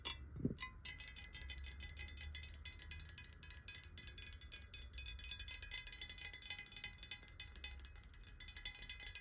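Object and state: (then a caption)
Glass water bottle. Long nails tap quickly on the side and base of a clear, hollow square glass bottle holding water, held tilted. The rapid taps give bright, high, clicky ticks with very short ring over a steady low rumble.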